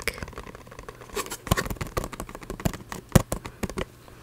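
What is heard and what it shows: Long red-painted fingernails tap and scratch a small, hollow, printed cardboard packaging box for a frog coin bank, held up close to the microphone. Dry, irregular clicks and scrapes have a faint low thud, and a few sharper taps stand out. Each sound stops almost at once, with no ring.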